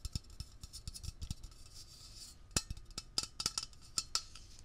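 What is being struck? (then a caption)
Metal aerosol can. A hollow, cylindrical metal Blue Coral aerosol can with a blue plastic cap is held in the hand and fast-tapped with fingertips and nails on its body and label. The result is a quick, uneven run of short, bright ticks and clacks, some landing with a dull low thump, each dying away almost instantly against a faint hiss.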